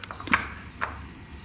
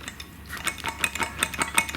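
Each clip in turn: First: adjustable dumbbell with tighter-fitting plates. Second: loose adjustable dumbbell plates.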